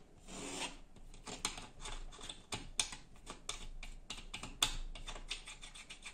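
Fingertips and short nails tap and scratch across a large, solid wood-grain laminated interior door panel, likely MDF, fitted with a small brass peephole. A steady dry, raspy rubbing is broken by sharp, bright taps that die away almost at once.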